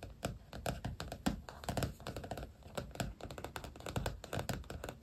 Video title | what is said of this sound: ASMR journal + stickers show & tell (tapping, scratching, tracing, soft spoken) | this journal has a soft cover so it makes kind of different tapping sounds